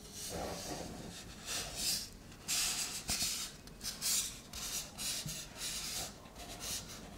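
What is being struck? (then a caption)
Metal aerosol can with printed label. Long nails and fingertips rub and scratch over the label of a shaving foam can, likely a metal aerosol can with a plastic cap, lying on its side and gripped with both hands. Bright, hissy scratching and rasping come in repeated swelling bursts, with little low end.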